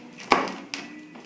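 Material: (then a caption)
Baked dough. A homemade thin-crust pizza is cut into squares, giving three sharp, bright crunches, the first loudest, each with a short crackle that fades quickly. The crust sounds nice and crispy as it is cut.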